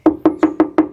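Five sharp knocks on the steel C-pillar of a 2010 Isuzu Panther LV 2.5 Turbo body, each a short, dry tap centered around 310 Hz that dies away almost at once. The pillar sounds sound, with original metal and no filler.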